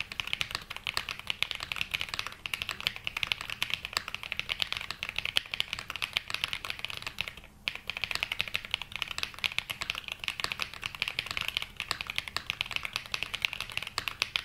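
Continuous two-handed fingertip typing on a black 80% Glacier 80 mechanical keyboard with London Fog switches and ABS plastic keycaps, resting on a felt mat. Rapid, bright, clicky keystrokes run nearly nonstop, with a brief pause around the midpoint. Each key hit is sharp and short with almost no ring.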